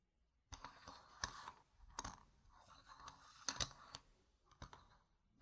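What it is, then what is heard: Plastic game tokens. Long red nails tap and scratch the faces of small, solid, round plastic game gem tokens scattered on a fabric mat. After a half-second of near silence come quick, bright clicks and ticks with short scraping rasps between them. Every sound dies away almost at once.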